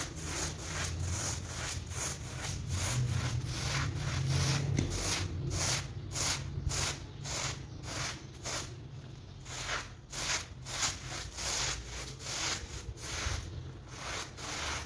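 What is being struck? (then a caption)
Soapy woven textile rug. Gloved hands scrub a soapy, foamy patterned woven rug lying flat on a terrazzo floor with a stiff hand brush. Steady, repeated bristle strokes make bright, wet, rasping swishes over a constant low rumble.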